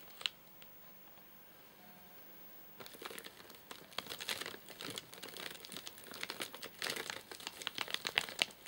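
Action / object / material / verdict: scrape / plastic-film wrapper of a snack bar package / plastic film / none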